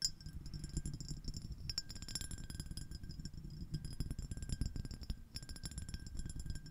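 A small, clear, iridescent glass dish shaped like a shell, with a ribbed surface, hollow and empty, is held over the microphone and tapped and scratched with long acrylic nails from both hands. The result is a dense run of quick, bright clinks and scrapes with short, glassy rings over a deep, muffled low rumble.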